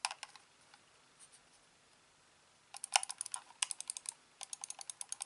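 A hand-sized, hollow, black plastic corded computer mouse has its buttons clicked by thumb and fingertips. A few sharp, bright clicks at the start are followed by a quiet pause, then quick, irregular runs of crisp, dry clicks with almost no ring.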